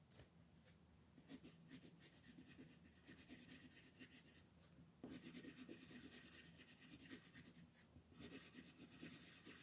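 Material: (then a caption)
Paper. A teal colored pencil rubs steadily across a thin mandala paper coloring sheet in shading strokes while the other hand rests on the sheet. It makes a quiet, dry, scratchy rasp with a rhythmic back-and-forth pulse and a bright, high hiss. The strokes grow slightly louder about halfway through.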